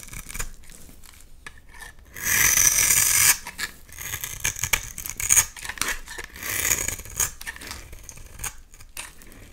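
A utility knife blade cuts crumbly chunks and curls off a solid, hand-sized oval lilac bar of soap. Short, bright rasping scrapes repeat quickly throughout, with a louder sustained shaving scrape near the start and another swell later on.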